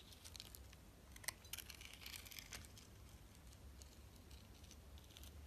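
A utility knife blade slices and scrapes thin layers and the glittery rim from a solid, translucent orange glycerin soap bar held in the hand. Quiet, crisp scraping and crackly ticks come in bright bursts, with a sharper snap partway through, over a steady low hum.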